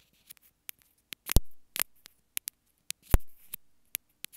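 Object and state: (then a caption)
Plastic earphone inline remote, tapped. Long fingernails tap and scratch the surface of a small white plastic earphone inline remote held in both hands. About fourteen short, sharp clicks are spread unevenly across the clip, with two louder, fuller knocks that briefly swell and fade.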